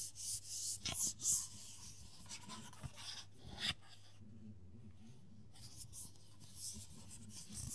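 Fingertips and short nails rub and scratch the black textured plastic cap of a small frosted plastic Diane hair oil bottle held in both hands. The result is a quiet, bright, dry scratching and rasping, with a few louder clicks and taps early on, a near-silent pause, and then the soft scratching resumes.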